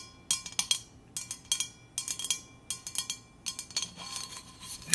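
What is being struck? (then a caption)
Stainless steel insulated water bottle with textured coating. Long acrylic nails scratch and rub along the textured coating of a large, hollow, red powder-coated stainless steel Hydro Flask insulated water bottle, held sideways and upright. Short bursts of bright, crisp scratching come in quick clusters with a faint metallic ring beneath them.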